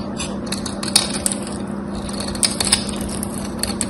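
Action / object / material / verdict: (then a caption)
scrape / bar soap / soap / none. A small knife blade shaves a solid, dry bar of gold-coated soap with a gold-scored surface, held in fingers with long white nails. Soft, continuous crackling scrapes are broken by a few sharp, bright clicks as flakes break away, over a steady low hum.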